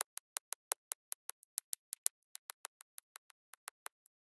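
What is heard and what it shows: A pink plastic drill pen with a waxed tip taps small square cream-colored resin drills onto a sticky coated diamond painting canvas lying flat on a table, pressing them down in quick repeated dabs. The result is a steady, even series of sharp, dry, bright clicks with no low end, each stopping instantly with no ring.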